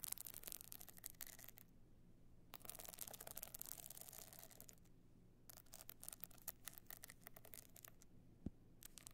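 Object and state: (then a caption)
Stone-chip covered box clutch. Long nails scratch across the surface of a tilted, hard evening box clutch covered in small stone chips. The sound is quiet, dense, bright scratching and clicking in bursts, with short near-silent pauses and a single sharper tap near the end.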